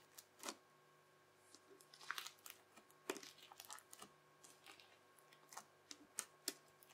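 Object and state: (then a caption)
Crunchy slime. The edge of a yellow plastic knife presses repeatedly into a teal, bubbly crunchy slime mound, chopping it. Each press gives a quiet, sharp, bright crackle or crunch that stops almost at once, scattered irregularly over a faint steady background hum.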